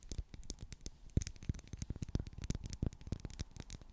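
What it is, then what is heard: Wax pillar candle. Long black acrylic nails tap and scratch across a solid, medium pink twisted-ridge wax pillar candle. A rapid, uneven series of soft, dull taps with deep low thumps stops dead almost instantly. Faint dry scratching sits beneath them.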